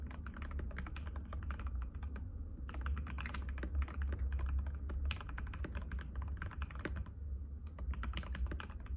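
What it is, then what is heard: Plastic mechanical keyboard. Fingertips of both hands type rapidly and continuously on a compact cream-white mechanical keyboard with plastic keycaps and a hollow case, resting on a glass table. Dense, sharp clicky keystrokes with bright transients sit over a steady low hum, with brief pauses in the typing around two and seven seconds.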